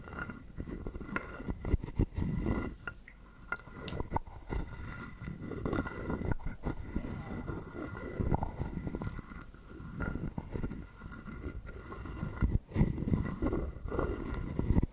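A wooden stick is scraped along the ridged back of a hollow carved wooden frog guiro held in the hand. It makes repeated dry, rasping, croak-like scrapes with a woody low body and quick clicks that die away almost at once.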